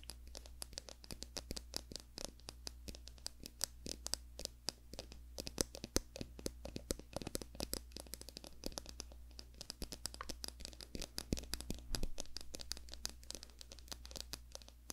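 Long fingernails scratch along the wide teeth of a small, solid, light-brown wooden comb held in both hands right in front of the microphone. The result is a dense run of quick, dry, bright ticks and scrapes over a steady low hum.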